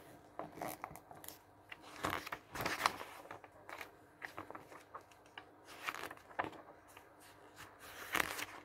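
Fingertips riffle and turn several thin pages of a glossy paper catalog lying open on a wooden table, in quick succession. Each turn makes a short, crisp, bright swish or crinkle over a faint steady background hum, with no lingering ring.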